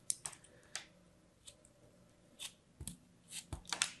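A solid, palm-sized slab of purple kinetic sand, held in the fingers, is repeatedly sliced and scraped with a thin metal blade. The result is a series of crisp, bright crumbling cuts with short gritty scrapes between them, and two of the cuts carry a low thud.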